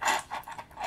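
Seashells kept in a bowl clink and rattle as they are handled. Bright, light clicking comes in a few short bursts, pitched around 900 Hz with a little high-end sparkle and almost no low end. Each rattle dies away quickly.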